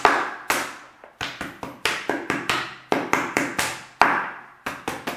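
A large, clear, hollow plastic water bottle that appears empty is held sideways and tapped and slapped with the fingertips and palm of the other hand. Seventeen hollow, resonant taps with a midrange ring sound at an uneven rhythm, each fading quickly.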